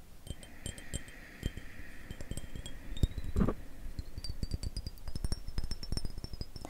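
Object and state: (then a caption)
Glass perfume bottle, partly filled. Short fingernails tap a square glass perfume bottle, partly full of amber liquid and with a black cap, while it is tilted in the hands. Many quick, light clicking taps carry a faint bright ringing tone that slowly rises in pitch, and a brief louder rustling burst occurs midway. The taps have a dull, thumpy body with almost no lingering ring.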